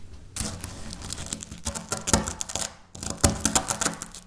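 Dry wafer biscuit pieces are pulled apart and crumbled between fingers with long nails over a stone surface. Crisp, crunchy tearing and crackling bursts with bright, high snaps come in two runs, broken by a brief near-quiet gap.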